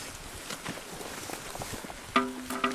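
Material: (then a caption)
Stone. A large stone with a petrified, bark-like texture is struck twice, and each hit gives a clear metallic ring around 254 Hz that fades quickly. The strikes come over faint outdoor background noise. The stone rings like metal, which is unusual for stone.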